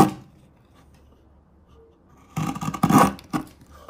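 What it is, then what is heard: Chisel shaving a light wood block. A large steel chisel is pressed down the end of a small, solid, pale wood wedge resting on a wooden table, slicing off curled shavings. A short bright scrape at the start gives way to near silence, then a run of rough, crackling cutting and scraping bursts with a bright, gritty edge.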